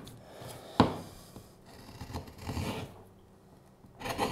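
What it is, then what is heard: Wooden spoon blank being carved. A steel hook knife scrapes and cuts the bowl of a solid, light wooden spoon blank with a curved handle, held up in the hand. A sharp woody knock is followed by short, dry, rasping scrapes with a low thud underneath. The cuts fade quickly into quiet.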